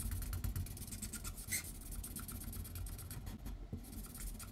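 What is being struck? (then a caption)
Paper sheet under a felt-tip marker. A felt-tip marker shades in outlined letters on a white paper sheet lying flat on a wooden table, moving in continuous back-and-forth strokes while the other hand rests on the paper. The strokes make quick, dry, scratchy swishes with bright edges, repeating steadily over a constant low rumble.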